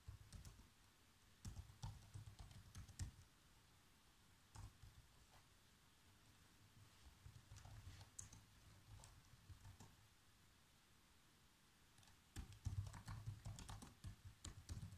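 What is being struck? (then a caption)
Plastic laptop keyboard. Bare fingertips with short nails type steadily on a black plastic laptop keyboard, producing soft, dry key taps in irregular bursts. The taps have a low, muffled thump with brief bright clicks on top, separated by quieter pauses, and the typing picks up again near the end.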